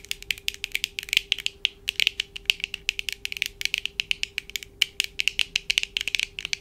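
Long acrylic nails on both hands tap and scratch the lenses and frame of black plastic-framed eyeglasses worn on the face. Rapid, irregular volleys of sharp, bright clicks with almost no ring run through the whole clip. Underneath sits a faint steady low hum.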